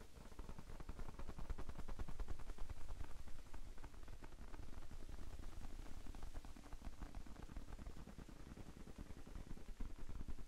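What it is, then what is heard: Foam sponge. A soft, hand-sized pink rectangular foam sponge is held in both hands while fingertips tap lightly across it. The result is a continuous, somewhat irregular stream of dull, muffled taps, heavy in low tones with almost no brightness. The taps swell slightly in loudness midway and then ease off.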